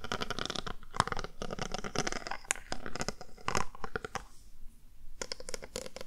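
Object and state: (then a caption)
Plastic rhinestone-covered panel. A small handheld square panel, possibly a box or compact, covered in multicolored plastic or acrylic heart-shaped rhinestones, is held in one hand and tapped and scratched across the gems with the tip of a glittery mermaid-tail pen. Dense bursts of crisp clicking and scratchy rasping run throughout, with a brief near-quiet pause before the scratching resumes.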